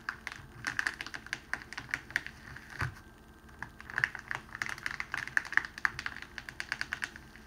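Fingertips press and slide along a folded strip of clear cellophane wrapping sheet on a table to flatten the fold. Dense, sharp crinkles and crackles come in quick, clustered bursts, with a bright crispness centered around 1.7 kHz and very little low end.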